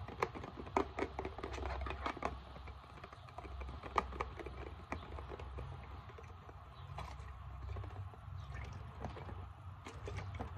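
Long painted nails tap and scratch the label and sides of a medium, hollow, translucent plastic Equate isopropyl alcohol bottle with a screw cap, held in hand and partly filled with liquid. Sharp, dry clicks and taps with a bright edge around 1.2 kHz come in quick irregular bursts over soft scratching. A steady low rumble runs underneath throughout.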